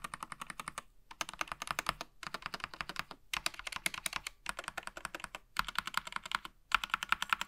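Gloved fingertips type with both hands on a SteelSeries Apex Pro TKL mechanical gaming keyboard, which has plastic keycaps and an aluminium frame and lies flat on a grey surface with its cable coiled behind. About 55 sharp, bright clicks come in quick bursts of typing, separated by brief silent pauses. Each keystroke is short and crisp, with almost no ring or low thump.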